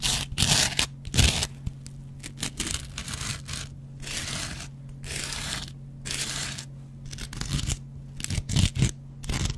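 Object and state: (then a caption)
Cellulose sponge scraped with a razor blade. A metal double-edge razor blade scratches a dry, hand-sized yellow cellulose foam kitchen sponge with a scouring pad. The result is bursts of bright, rough, tearing scrapes, some short and sharp and some drawn out and hissy. A steady low hum runs underneath throughout.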